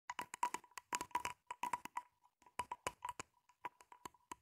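Long pink-painted nails scratch along the ridges of a hollow, empty, grey ribbed flexible plastic hose about 25 cm long, held in both hands. A quick, uneven run of dry, sharp clicks rattles out, each ringing with a hollow tone near 1 kHz and dying away almost at once, with brief pauses between bursts.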